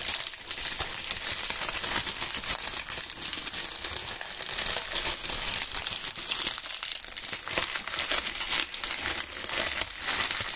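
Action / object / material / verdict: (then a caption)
scrape / maple leaves / dry leaves / none. Both gloved hands crumple bunches of dry brown maple leaves, rubbing and crushing them near the microphones. A dense, steady crackle and crinkle of sharp, bright snaps runs unbroken through the clip, with almost no low end.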